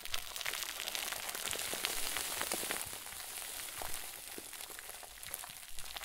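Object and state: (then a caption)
Stuffed plastic bag. A round white plastic bag filled with stuffing is squeezed and crinkled between both hands. It makes a dense, steady stream of bright crackling crinkles with sharp snaps scattered throughout, over a soft low rustle.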